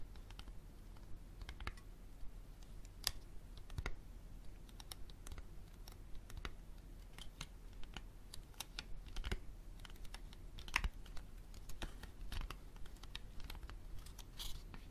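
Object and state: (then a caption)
Hardcover book with paper dust jacket. Long painted fingernails tap and scratch the cover of a solid, medium hardcover book in a cream paper dust jacket lying flat on a wooden table. The sound is a quiet, uneven run of short, dry clicks and taps with faint scratchy rustling, each tap dying away almost instantly over a low, steady hum.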